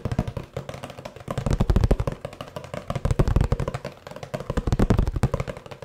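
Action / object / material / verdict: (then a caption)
tap / cardboard box / cardboard / none. Fingertips tap and knock on a hollow kraft cardboard box with a blue band, held upright. The result is fast, uneven clusters of dull, low, hollow thuds with almost no ring. The tapping swells into louder bursts a few times before dropping back to softer patter.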